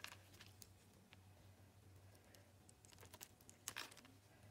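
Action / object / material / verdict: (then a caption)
scrape / soap bar cut with a knife blade / soap / none. A utility knife blade slices small cubes off a solid teal Lux bar soap held in the hand. The clip is quiet, with a series of short, crisp, bright cutting clicks and scrapes, the sharpest near the end. A steady low hum runs underneath throughout.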